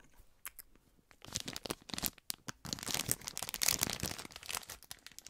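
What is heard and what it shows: A small clear plastic cellophane bag, tied with a pink ribbon and filled with heart-shaped marshmallows, is held in both hands while fingertips crinkle and rub the plastic and work at the tie. A few sparse crackles give way to dense, bright crinkling and crackling. Short, sharp snaps stand out through it all.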